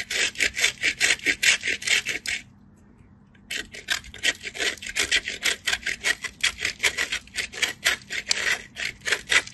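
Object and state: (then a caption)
Bar soap grated on a metal grater. A solid cream-white bar of soap, held in the fingertips, is rubbed against the perforated face of a small metal grater, shedding powdery shavings. Quick, bright rasping strokes come in a steady back-and-forth rhythm, pause for about a second, then resume.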